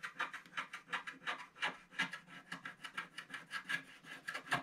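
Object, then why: Black-coated scratch art card with wooden stylus. A wooden stylus scratches steadily across a flat black-coated scratch art card held down by one hand, removing the black layer around a snowman. About 23 short, dry scraping strokes follow in a quick, uneven rhythm, each with a raspy, bright texture centered around 1.6 kHz and very little low end.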